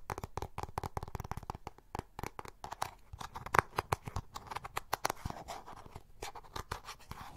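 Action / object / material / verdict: tap / plastic makeup compact / plastic / none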